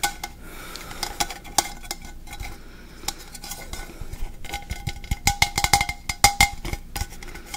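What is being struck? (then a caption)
Stainless steel travel mug. A medium, hollow, seemingly empty stainless steel travel mug with a black plastic handle is held in one hand near the mic while fingertips tap and handle it. Quick, bright metallic taps ring briefly around 800 Hz over soft handling rustle. The taps come sparsely at first, then grow denser and louder toward the end.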